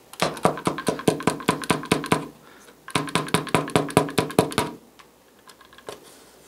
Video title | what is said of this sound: HOW TO DEEP CLEAN A STICKY PCV VALVE AND HOW TO TELL IT A BAD OR DUE FOR MAINTENANCE | there's a good amount of oil in it